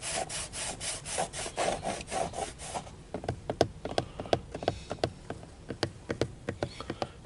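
Fingernails scratch across the textured dark grey plastic airbag cover at the centre of a car steering wheel, which has a chrome emblem and sits as a solid panel over a hollow housing. Steady back-and-forth rasping strokes come first, then fingertips and nails switch to sharp, short, hollow taps on the cover.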